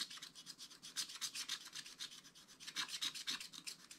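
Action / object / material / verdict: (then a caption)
scrape / wax-coated scratch-art paper page scratched with a wooden stylus / coated paper / none. A wooden stylus is scratched across a flat, black wax-coated scratch-art paper page to draw fur lines. It makes a quick run of short, dry, bright scratching strokes, nearly four per second and somewhat uneven. The sound is thin and high with almost no low end.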